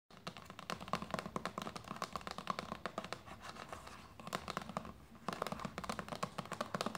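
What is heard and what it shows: Long painted nails rapidly tap and scratch a hollow, medium white plastic lotion bottle with a red cap lying on a knitted blanket. The result is a stream of short, dry clicks with a hollow tone around 1 kHz and light scratching between them. The tapping eases briefly near the middle, then picks back up fast.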